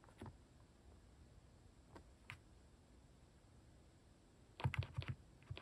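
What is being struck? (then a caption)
Plastic mechanical keyboard. Fingertips type slowly on a plastic mechanical keyboard fitted with cat-shaped keycaps. About nine short, dry keystrokes with a low, muted body are heard: a few scattered presses, then a quicker cluster near the end against a quiet background.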